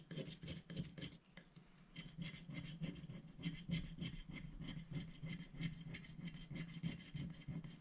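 A thin black-coated scratch-art sticker sheet, held down by a hand, is scratched and rubbed with a wooden stylus tip, removing the coating in small strokes. A steady run of quick, dry scraping strokes, about three per second, each a short rasp with a low body and a bright, papery hiss on top.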